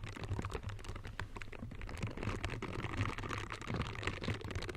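Close-up of pink silicone scrubber gloves with soft bristles worn on the hands, the gloved fingers rubbing and scratching against each other. The result is a dense run of soft, quick scratchy brushing ticks over a steady low hum around 100 Hz.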